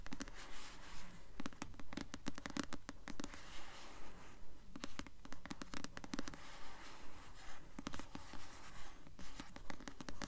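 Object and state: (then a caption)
Paperback book cover scratched with nails. Long nails slowly scratch the glossy paper cover of a solid paperback copy of the novel *Delirium*, possibly blue, held upright. Soft, dry scraping strokes repeat in a steady, even rhythm at a quiet level, each brief stroke fading almost instantly.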